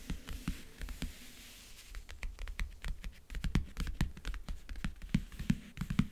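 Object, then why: Leatherette-covered backgammon case. Long, dark-painted nails tap and scratch the lid of a closed, hollow, rectangular backgammon case with a world-map print and metal clasps, lying on a blanket. It makes a fast, uneven run of short, dry clicks with a soft, low, hollow knock under them, mixed with quieter scratching. Each tap dies away almost at once.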